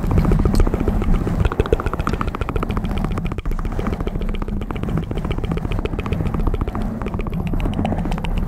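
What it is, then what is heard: Foam microphone windscreen being scratched and tapped. Both hands scratch and tap a black foam windscreen on a microphone with long metal claw nails. The result is a dense, rapid stream of muffled, low-heavy scratches and taps that blend into a steady, rumbling crackle with little high end.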